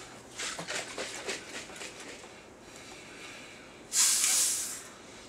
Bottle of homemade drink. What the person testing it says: it got a Fizz to it